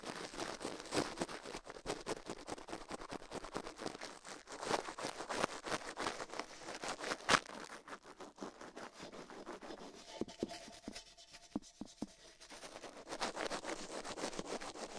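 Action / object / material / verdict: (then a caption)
scrape / silicone ear on a microphone, toothbrush bristles / silicone / none. A gloved hand brushes and rubs the right silicone ear of a binaural microphone, mounted on a metal mic plate, with toothbrush bristles while the left ear stays untouched. Fast, dense scratchy bristle strokes fill the clip with bright, crackling friction noise. Around the tenth to twelfth seconds the brushing turns sparser and softer with faint tonal hums, then picks back up.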